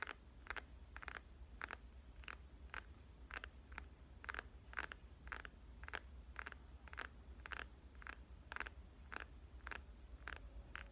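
A dark smartphone with a glass and metal body, held horizontally in both hands, is tapped with dark-painted fingernails and fingertips. About 23 short, dry clicks centred near 1.5 kHz die away almost instantly. A steady low hum sits underneath.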